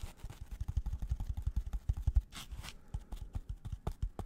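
A white polystyrene foam packaging block, held close, is scratched and tapped with gloved fingers. Its rapid, dull, low thumps have a short rustling scratch in the middle that sounds brighter and hissier.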